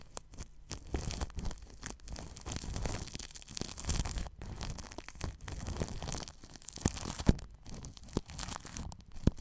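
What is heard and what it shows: A paintbrush brushes plastic cling film wrapped over a ball microphone's grille. The result is continuous close crinkling and scratchy swishing in uneven bursts, with a heavy low rumble and occasional sharp clicks.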